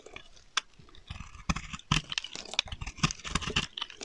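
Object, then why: Soap bar scraped with a knife blade. A utility knife blade scrapes thick curling shavings off the face of a solid, dry, dark green octagonal soap bar held in the hand. Repeated sharp, crunchy scrapes and crackles carry bright, crisp highs over soft low thuds, each cut stopping almost instantly.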